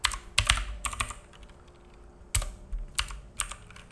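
Fingertips of both hands type on a black full-size mechanical keyboard with plastic keycaps and a hollow case, resting on a wooden desk. Sharp, bright clacks come in irregular bursts, each with a low thock beneath and a very short decay. Quieter gaps fall between clusters of taps.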